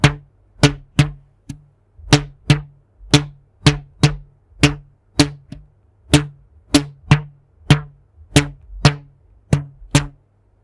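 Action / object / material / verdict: flick / rubber band / rubber / none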